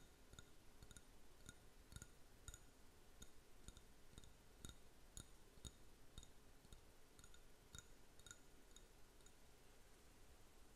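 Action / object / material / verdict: tap / small ceramic cup / ceramic / none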